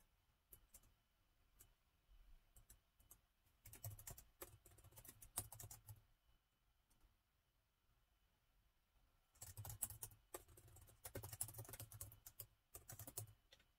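Fingertips of both hands type steadily on the black plastic chiclet keys of a gold metal-look laptop with a hollow body. Quick, soft clicks with bright tops over dull low thumps come in bursts, with a quiet pause before a final denser run of typing.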